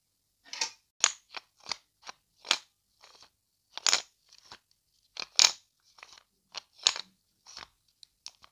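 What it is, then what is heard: Plastic effervescent tablet tube. Long dark nails tap, flick and handle a small hollow plastic vitamin C effervescent tablet tube with a paper label and white cap, held in both hands in front of the mic. About fourteen short, crisp, bright clicks and taps come at an irregular pace, with almost no low end and very little ring after each hit.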